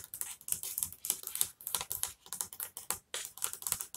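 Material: Wood.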